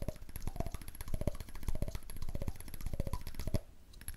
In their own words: ASMR: Cool Tapping Sounds on a Candle Lid